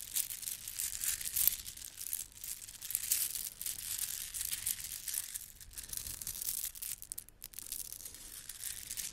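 Gold plastic bead garland strands are held up and let hang, then rolled between fingers with long red nails. The beads clatter together in a dense, bright rattle of tiny clicks that flows continuously, with no clear separate hits.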